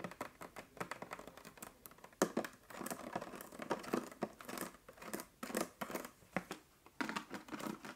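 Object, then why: Plastic water bottle. Long nails tap and scratch the ridged bottom of a clear 1.5 L plastic bottle partly full of water. The result is a quiet, rapid run of dry clicks and scratchy rasps with short crinkly bursts, sitting mostly in the mids with little low end.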